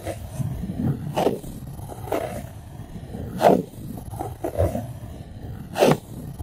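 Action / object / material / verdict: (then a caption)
scrape / styrofoam plate / styrofoam / none. Long acrylic nails rub and scratch the surface of a white styrofoam plate resting on top of a microphone, producing sharp, squeaky squeals that rise out of a low, grainy rubbing hiss. The squeaks come in short, uneven bursts a second or so apart, each cutting off quickly.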